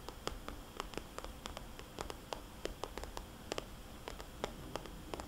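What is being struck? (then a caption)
Soft-sided plastic cosmetics bag. A small, glossy, red polka-dot plastic cosmetics bag, hollow and soft-sided, is tapped with long dark-painted nails and fingertips. Quick, short clicks with a bright crackle follow one another irregularly over a soft hiss.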